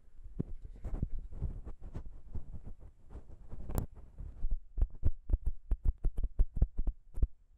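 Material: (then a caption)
Metal. Long pink nails tap and scratch the chrome XY microphone capsules on the grey body of a Zoom H6 recorder, producing close, heavy, low thumps. A dense stretch of rubbing and scratching with one sharper click gives way to a steady run of distinct, evenly spaced taps.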